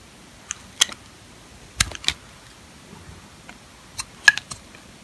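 A metal box-cutter blade scrapes across the face of a solid, dry, old green sulfur soap bar held in the hand, peeling off thin curls. About ten short, crisp, bright scraping clicks come in small clusters, separated by quiet pauses.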